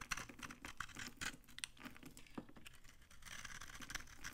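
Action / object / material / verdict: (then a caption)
scrape / soap bar shaved with a utility knife / soap / none. A utility knife with a red handle shaves dry flakes off a hand-sized, solid yellow vintage soap bar held in the palm. Rapid, dry, crunchy scrapes and crackles come in short bright bursts with little ring. The strokes ease briefly near the middle, then return as a denser, steadier scraping toward the end.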